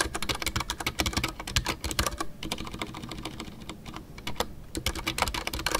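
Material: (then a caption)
Plastic. Fingertips type continuously on a full-size Ducky One 2 mechanical keyboard with a white case, MX Brown switches and custom artisanal PBT plastic keycaps. A rapid, uneven stream of short, crisp clacks and taps with bright tops is heard over a low thock, each keystroke dying away almost instantly.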